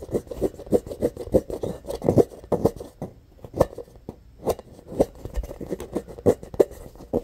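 Fingernails quickly scratch a medium-sized, hollow, rainbow-colored rubber playground ball with an embossed textured surface. The result is a rapid run of short, dry scraping bursts centered around 400 Hz, with a brief lull about midway through.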